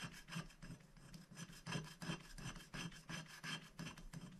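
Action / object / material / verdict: scrape / black-coated scratch-art paper scraped with a wooden stick / coated paper / none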